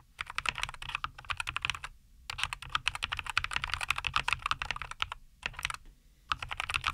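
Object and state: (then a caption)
Mechanical keyboard typing. Fingertips type steadily on a compact 75% mechanical keyboard, a NuPhy Air75 V2 with a white case, green and white plastic keycaps and linear Cowberry switches, resting on a wooden desk. Rapid, bright plastic clacks come in bursts with short pauses, each keystroke brief with almost no ring.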